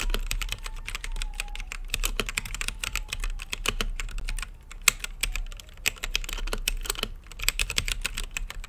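Fingertips type steadily on an RGB-lit mechanical keyboard with plastic keycaps and a clear acrylic case, producing a dense stream of short, crisp, bright key clicks and clacks. Each press dies away almost instantly, with a faint low hum underneath.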